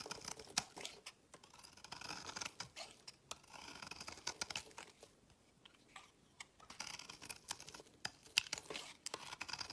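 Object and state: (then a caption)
Bar soap being shaved. A utility knife blade repeatedly shaves the edge of a solid green oval bar of soap held in the hand, peeling it into fine curls. The quiet, dry scraping comes as a steady run of short, bright rasps and crisp crackles with almost no low end, and the strokes rise and fall in intensity with brief pauses between bursts.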